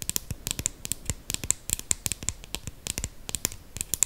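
Long green acrylic nails tap and scratch along the barrel of a small, slim, dark brown KVD eyeliner pen, likely plastic and solid, held up close. About 27 sharp, bright clicks with almost no ring come in an uneven rapid series, with soft scratching between them.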